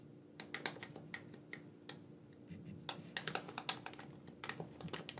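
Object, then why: Plastic game controller. A black corded gamepad with a hand-sized hollow plastic shell is held in both hands while the thumbs rapidly press and click its buttons. The result is a quick, irregular run of short, dry, bright plastic clicks with almost no ring, over a faint steady low hum.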